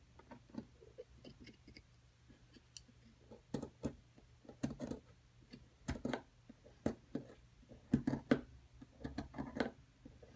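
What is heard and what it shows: A flat metal chisel with a wooden handle chips and scrapes at a solid white plaster excavation block, breaking into the plaster. It makes a quiet, irregular series of short, dry clicks and taps with brief scraping rasps, each dying away almost instantly over a faint steady low hum.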